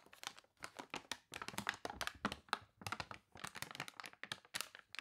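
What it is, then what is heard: Crinkled glossy paper catalog. A thick, glossy paper toy catalog with wavy, water-crinkled pages has a page turned and crumpled by hand, then long nails rub across the spread. Dense bursts of crisp, bright crinkling and crunching come in short, dry clusters with little low end and almost no ring.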